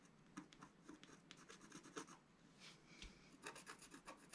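A wooden stylus rubs and scratches across a flat, black-coated scratch art paper sheet lying on a table. The clip is a quiet series of short, dry rasping strokes with bright scratchy bursts. Some strokes are sharper, and softer rubbing fills the gaps between them.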